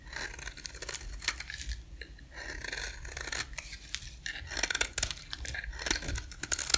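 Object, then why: Bar of soap scraped with a blade. A solid, dry, white rectangular soap bar is scraped and shaved with a utility-knife blade held against its edge. Dense, dry, bright scraping is heard, with crisp crackles and sharp ticks that grow louder and more clustered toward the end.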